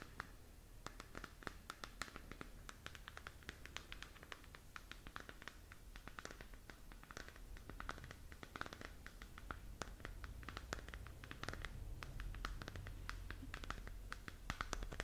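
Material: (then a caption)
Plastic. Long nails scratch and tap across the textured surface of a glowing, hollow plastic sphere galaxy moon lamp held in both hands. The result is a quiet, dense stream of crisp, bright scratching clicks over a steady low hum, growing slightly busier toward the end.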